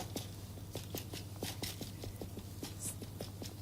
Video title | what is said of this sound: 《#洋厨房 / You are the Chef》Rachel Khoo's Simple Pleasures: A Taste of Travel - 卖家秀【STV综合频道】FULL | if you turn it over and tap it sounds Hollow